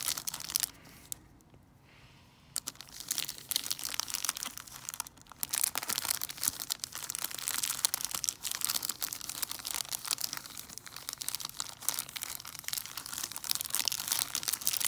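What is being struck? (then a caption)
Chocolate bar in a plastic wrapper. Long nails crinkle and scratch a large chocolate bar in its plastic wrapper. Dense, bright crackling and scraping fill the clip, pausing briefly near the start before carrying on steadily to the end.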